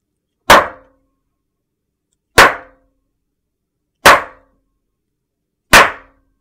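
A large, flat, solid white soap slab is struck with a metal meat tenderizer mallet, leaving dents. Four separate short, dull knocks are heard with a brief woody ring and quick decay, spaced about two seconds apart.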